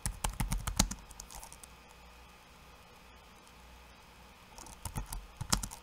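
Fingertips of one hand type on a backlit laptop keyboard with plastic keycaps, producing quick, irregular clicky taps with short, dry decays. A burst of typing in the first second gives way to near silence, then a second flurry of keystrokes picks up toward the end.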